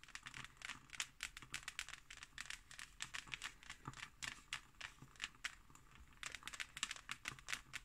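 Long nails scratch and tap across the embossed, textured cover of a closed, thick, solid hardcover book. The result is a dense run of short, dry, bright scratches and crisp taps with almost no ring, quiet overall and with little low end.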